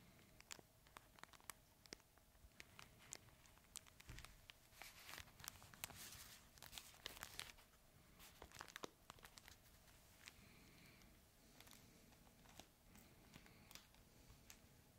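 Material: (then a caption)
Fabric. A red fabric plush crinkle toy, held horizontally in both hands, is squeezed and scratched with the fingertips, giving quiet, bright crinkling and crackling with sharp, short clicks scattered throughout. The crinkles swell into a denser, louder rustle in the middle, then settle back to sparse crackles and soft scratching.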